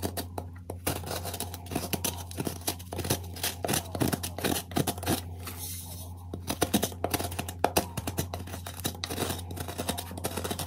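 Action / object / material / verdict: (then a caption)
scrape / magnesium carbonate gym chalk block scraped with a metal spoon / chalk / none. A metal spoon scrapes and carves chalk from the carved-out hollow of a square white gym chalk block (magnesium carbonate) held in one hand, and the block is tilted at the end. Dense, rapid dry scratching and crumbly scraping sounds run over a steady low hum.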